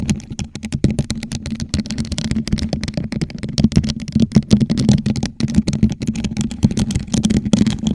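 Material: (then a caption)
Plastic. Long nails on both hands rapidly tap and scratch a hollow, gold rhinestone-studded plastic tumbler turned upside down over a microphone. The result is a dense, steady stream of short, dry clicks with quick scratchy rasps, each ringing only briefly. Underneath sits a hollow, boomy resonance around 215 Hz.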